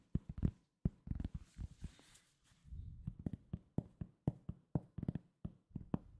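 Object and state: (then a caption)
Cork coaster. Fingertips tap and scratch a round, flat, solid cork coaster, producing twenty-one dull, low, short thuds with almost no ring. A brief soft scratching rustle sits between the taps.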